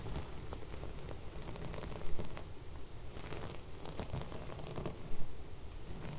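Long red nails scratch and rub across sequin-embroidered fabric laid flat, with fairy lights along its edge. The sequins give a soft, rain-like patter of tiny clicks and rustles over a low, steady rumble, with two brief louder scrapes standing out.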